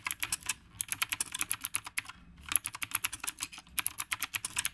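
Fast two-handed fingertip typing on the round plastic keycaps of a retro typewriter-style mechanical keyboard. About 33 crisp, bright, clacky keystrokes come in rapid bursts, with two short pauses. Each key strike is sharp and dies away almost instantly, with very little low end.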